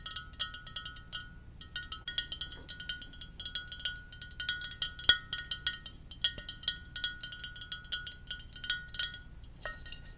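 A Darth Vader ceramic mug is tapped gently in quick, irregular clusters of light taps. Each tap gives a short, bright clink with a steady ringing tone around 1.4 kHz and higher overtones, and it fades almost at once over a faint low hum.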